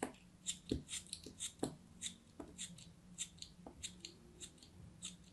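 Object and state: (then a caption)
Kinetic sand block being sliced. A craft knife blade slices repeatedly through a hand-held solid piece of packed green kinetic sand. Each cut gives a soft, crumbly crunch with a bright, gritty hiss and a low thud, and the irregular quiet cuts fade almost at once.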